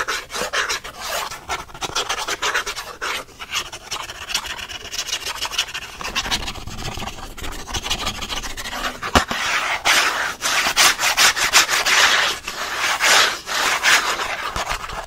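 Fingertips and nails scratch fast across the printed back of a thin cardboard pen-pack card held up in the air. The result is a dense, bright, raspy scratching in quick, uneven bursts that runs the whole clip and grows louder and harsher in the second half.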